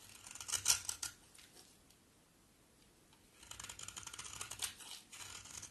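A solid coral-orange bar soap is shaved with a box cutter blade in scraping strokes, sending crumbs flying off. Crisp, bright scraping bursts come in the first second, followed by a near-silent pause. A longer run of dry, rasping strokes then continues to the end.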